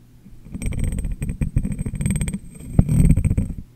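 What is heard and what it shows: Fingertips and long nails tap on the top and rim of a medium, clear, hollow, empty glass jar set upside down over a microphone. The taps come in quick flurries, a first burst, a brief lull, then a second burst opening with one sharper knock. They produce deep, boomy thuds with a low hum and faint bright clicks from the nails, each tap dying away almost instantly.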